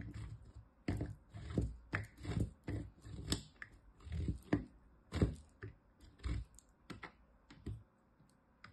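A small, solid green chunk of bar soap, held between the fingers, is rubbed against a metal box grater. It makes a steady series of short, dry rasping scrapes, each with a low, thumpy body and a crisp, bright top. Brief quiet gaps separate the strokes.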